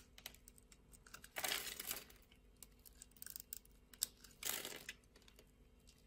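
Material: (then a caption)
Soap. A metal utility blade scores the surface of a solid, translucent orange bar of soap held in the hand and scrapes off small cubes. Quiet, crisp ticks and clicks are broken by two longer, bright scraping bursts, one near the start and one toward the end.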